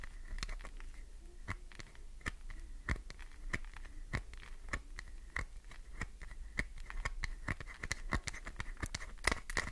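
Long nails tap fast on the top edge of a solid green glycerin soap bar, chipping off shavings. Quick, dry clicks and scratches come in an uneven stream over a faint low rumble, each one crisp and gone almost at once, with a steady bright ring near 2 kHz running beneath them.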